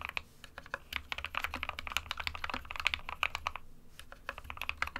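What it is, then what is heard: Plastic mechanical keyboard. Fingertips of both hands type continuously on a small SK61 60% white plastic-cased mechanical keyboard with plastic keycaps, resting on a desk mat. The rapid, steady stream of short, bright plastic clacks stops dead after each keystroke, with a faint low hum underneath.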